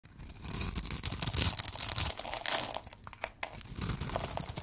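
A metal blade scrapes and carves a cube pattern into a hand-sized, green and white striped solid bar of dry soap held in one hand. Crumbles break off with bright, dry, crackling scrapes and crunches that rise and fall in quick bursts.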